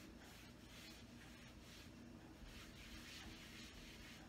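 A hand rubs and wipes a folded paper towel across the surface of a large, tall, wood-grain panel wooden kitchen cabinet door mounted on the wall. The result is a steady, quiet, continuous papery rubbing with rhythmic bright swishes as the towel moves back and forth, over a faint low hum.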